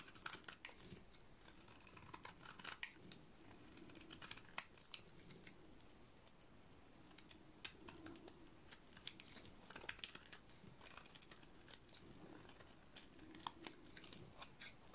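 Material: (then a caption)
Soap. A solid, cream-colored dry soap bar is held in the hand and shaved with a utility-knife blade. Dry, crisp scraping and cutting strokes come in quick bright bursts over a quiet background. The soap flakes away with each pass.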